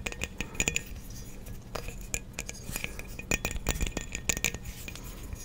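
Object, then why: Glass light bulb with metal base. A hollow frosted glass light bulb with a metal base, held in both hands, is tapped with the fingernails and possibly shaken. A string of quick, bright glassy clinks with short rings sounds over a low, steady background hum.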